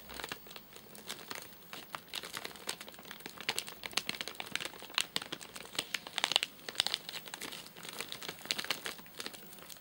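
Fingertips and short nails tap and scratch the top of a flat, sealed white plastic/paper-laminate nougat bar package with crimped edges, full of nougat bars and lying on a sofa. A steady stream of quick, bright crinkles and dry scratchy clicks plays at a soft level with almost no low end. Each tap cuts off instantly with no ring.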